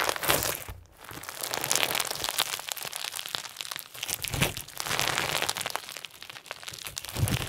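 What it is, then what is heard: Crunchy slime with plastic sequins. Fingertips press and fold clear slime densely filled with round pink and white plastic sequins, then stretch it out into a thin sheet. A steady stream of bright, dense crackling and crunchy clicks is heard, with brief quieter dips between handling moves.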